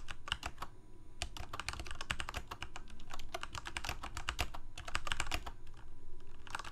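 Fingertips of both hands type rapidly on a full-size black plastic Corsair mechanical keyboard with lit keycaps and hollow switch housings. A dense, steady run of sharp, bright key clacks rides over a low, hollow thump, with a brief lull near the end before the typing picks up again.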